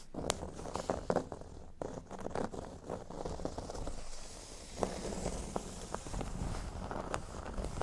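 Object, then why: Thin cork board on a table. A flat, thin, solid cork board lies on a table as fingernails scratch from its top edge down across the cork. The sound is a dry, crackly scraping with many short, sharp ticks. It is low and muffled overall, with brief bright clicks.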